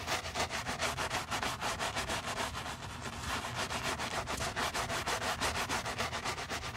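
A wooden-handled bristle brush scrubs a soapy, foam-covered white leather Miu Miu sneaker, held in a black-gloved hand, working over the leather side and heel. About 17 quick back-and-forth strokes make a bright, scratchy, hissing rub with little low end, each stroke swelling and fading in a steady rhythm.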